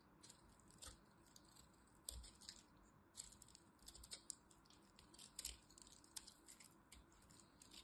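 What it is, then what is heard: Dried bar soap. A small metal blade cuts and scrapes the edge of a dried lilac soap bar held in the hand. Quiet, bright, dry crackling scrapes and crisp clicks come in irregular bursts over a low, steady hiss, each snap dying away almost instantly.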